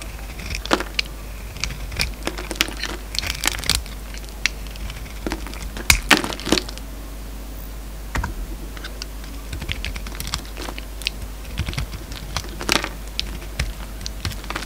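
An oval solid bar of soap with a pink shell and a peach core is held in the hand and shaved with a utility-knife blade. Short, crisp, bright scraping crackles come in irregular bursts, with a few sharper snaps near the middle. A steady low hum sits underneath.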